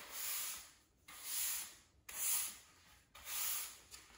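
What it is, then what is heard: Cement floor being swept. A blue plastic push broom with black bristles sweeps a small pile of dust and grit across a bare, solid grey cement floor. Four separate strokes each rise and fade as a bright, hissing scrape, with brief quiet gaps between them.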